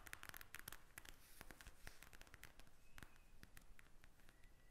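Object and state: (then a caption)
Plastic gel bead eye mask. Long red acrylic nails tap and scratch across a pink gel bead eye mask in a plastic shell lying flat. Quick, dry clicks and bright crackly taps come in a steady stream with almost no ring, while a faint scratching texture and a thin squeaky tone drift underneath.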